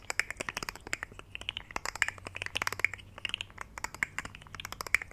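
A rainbow segmented plastic articulated fidget slug toy is curled in both hands while fingertips bend and rub its segments. This produces a rapid, irregular stream of bright, dry plastic clicks with scratchy rubbing between them and no lingering ring.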